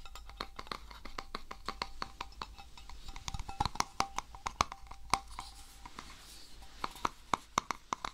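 A small, hollow, round silver metal tin is held in both hands while fingertips rub and twist it and scratch its lid and sides. Quick, sharp metallic ticks and scrapes come in an uneven stream over a soft, bright hiss. A faint ring near 1 kHz dies away almost instantly after each tap.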